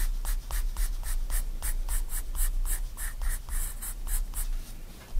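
A 4B pencil draws small, quick strokes on a white paper sketchbook page lying flat, giving a steady run of short, bright scratches over a low background rumble.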